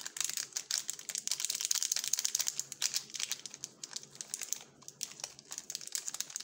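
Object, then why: Plastic film snack wrapper. Gloved fingers turn, rub and crinkle a sealed purple plastic Jumka waffle wrapper with the bar still inside. The result is a dense stream of bright, crisp crackles and rustles made of many short, sharp snaps with almost no low end.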